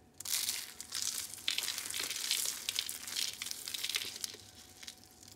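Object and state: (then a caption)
Dry soap curls. Dry purple and white soap curls are crushed and crumbled between both hands into small brittle flakes. The result is a dense, bright, continuous crunching and crinkling with many overlapping crackles and almost no low end.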